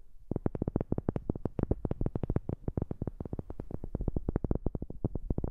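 Fingers tap rapidly on a wooden object, picked up by a new microphone. A dense, steady run of short, dull knocks with a deep low thump, no brightness, and almost no ring after each tap continues without pause to the end.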